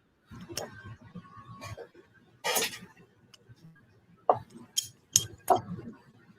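A full-titanium Manix folding knife with a titanium handle is tinged, giving short, bright metallic clinks centered near 730 Hz that die away almost instantly. Four sharp clinks stand out near the end over a low, muffled background rustle and murmur, after a brief broadband burst earlier on.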